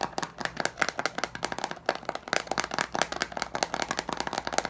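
Fingertips and nails quickly tap and scratch the teal plastic screw lid of a large glass jar with leaves inside. The result is a fast, uneven stream of sharp, dry clicks and scrapes with a bright, clattery tone and almost no ring.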